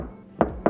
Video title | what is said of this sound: Lexus LX600 + (NEW) LX700 Full Review! Interior, Exterior and More | when I tap you barely hear that Hollow sound it feels like a reinforced steel instead of a tin can